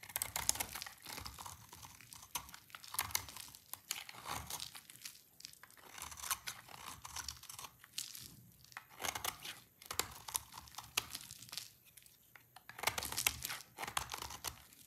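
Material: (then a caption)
Soap. A hand-sized, dry, solid yellow bar of soap is held in one hand and repeatedly scraped with a utility-knife blade, peeling off curly shavings. Each pass makes a dry, crackly, bright scratching sound with almost no low end. The scrapes come in bursts separated by brief quiet pauses.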